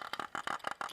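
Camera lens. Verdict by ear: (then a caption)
Loose. A Sigma 60mm camera lens with a lens hood and a shiny metal focus ring is shaken, and its loose internals rattle. It makes a quick series of short, dry clicking rattles centered around 1.2 kHz with little low end. The lens rattles whenever it is shaken.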